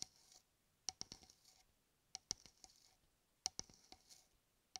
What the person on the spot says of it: 05:24 – 08:15 Tapping and scratching shaving cream can